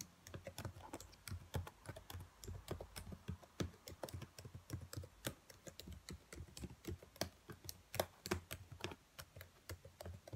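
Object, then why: Plastic laptop keyboard keys. Long nails tap and type on the black plastic keys of a dark laptop keyboard, making a steady stream of quick, dry clicks that stop almost instantly. A soft low rumble sits beneath the bright clicking throughout.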